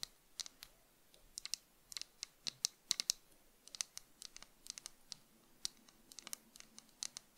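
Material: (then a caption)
Plastic. Long nails scratch and tap along the frame, arms and brown lenses of tortoiseshell plastic cat-eye sunglasses held in both hands. The result is a quiet, irregular series of sharp, bright clicks and light scratches with almost no low end, each dying away instantly.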